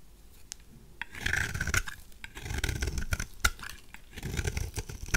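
A knife blade scrapes shavings off a white, solid, oval bar of dry soap held in the hand. Dry, rasping scrapes come in irregular bursts, with short bright clicks and a faint high tone over a soft low rumble.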